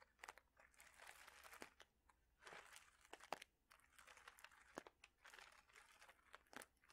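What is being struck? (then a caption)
Plastic bag holding small ceramic or glass mosaic tiles. A clear plastic bag holding small ceramic or glass mosaic tiles is squeezed and crinkled with fingertips and nails. The result is soft bursts of bright plastic crinkling with sharp little clicks and crunches as the tiles shift against each other. Brief quiet gaps separate the bursts.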